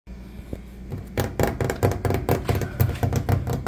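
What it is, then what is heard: Laminate kitchen countertop. Fingertips and short nails of one hand tap on a flat, speckled brown laminate kitchen countertop. After a quiet start, a quick, uneven run of dull, low-pitched knocks follows, each dying away almost at once with no ring.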